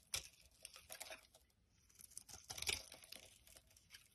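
A solid brown soap bar held in the palm is scraped with a knife blade and rubbed by fingers, with shavings piling up on the table. Quiet, dry, high scraping and crinkly rasps come in uneven bursts, loudest near the start and again around the middle.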